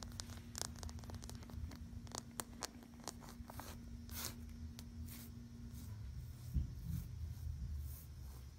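Fingertips and long nails scratch and rub across a flat, soft dark navy fabric U.S. Army banner, a flag or blanket printed with a yellow and white star and U.S. ARMY lettering. Quiet, dry scratching ticks and brushing rasps are heard over a low background hum that stops about two-thirds of the way through.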